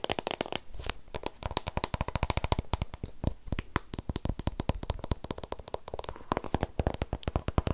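Fingertips and nails rapidly tap and scratch the surfaces and edges of a long, white, hollow, closed cardboard Apple Pencil box in plastic shrink-wrap as it is held in the hands and turned over. A steady run of dozens of dry, sharp clicks and taps carries a low, hollow thud under each hit, with crinkly scratching in between. Every tap dies away almost instantly with no ring.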